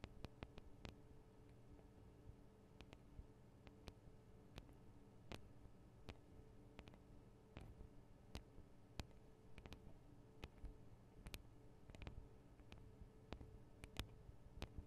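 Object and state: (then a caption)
Recorder microphone capsules tapped with fingernails. Long acrylic nail tips tap on the tops of a Tascam DR-40 recorder's two small hollow microphone capsules, which have metal and plastic housings. Sharp, dry clicks with bright tops sound at an uneven pace over a steady low hum.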